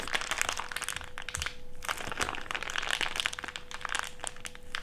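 An empty, thick, clear plastic bag, crumpled into a small wad, is squeezed with the fingertips. It gives a dense, continuous run of bright crinkling and sharp crackles, with a faint steady hum underneath throughout.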